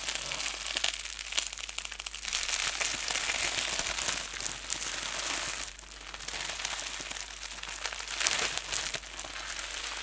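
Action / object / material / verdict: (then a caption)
scrape / plastic bubble wrap / plastic / none. A wad of clear plastic bubble wrap is held in both hands and squeezed and twisted with the fingers and thumbs. It makes a steady, bright, dense crinkling and crushing with sharp crackly snaps and almost no low end. The sound eases briefly about midway, then builds back up.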